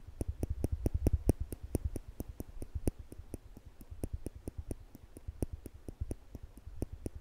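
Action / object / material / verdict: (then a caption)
tap / stainless steel tweezers / stainless steel / none. Small polished stainless steel tweezers are held in one hand near a microphone while the fingertips squeeze the arms, snapping the metal tips together. About 38 sharp, dry clicks follow in a steady, rapid rhythm, each with a low thump and a bright, high tick that dies away almost instantly. The clicks are loudest around the first second and a half.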